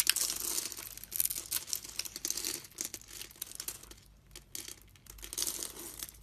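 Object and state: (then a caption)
Bar soap being cut. A solid red bar of soap, held in the hand with its grid-scored surface, is shaved into small cubes with a utility knife blade. Bright, crisp crackling and scraping rasps come in dense bursts with short pauses between, sharp with no ring. "Long red nails" is a visual detail and not part of the sound, so it is left out. Final caption: A solid red bar of soap, held in the hand with its grid-scored surface, is shaved into small cubes with a utility knife blade, giving bright, crisp crackling and scraping rasps in dense bursts with short pauses.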